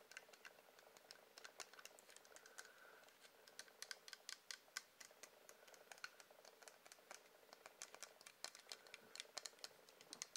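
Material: Wax.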